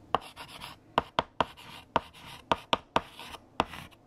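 A hand writes with light green chalk on a large flat black chalkboard, sending a series of sharp, dry taps against the surface. Between the taps come soft, bright scratching strokes as the chalk drags across the board.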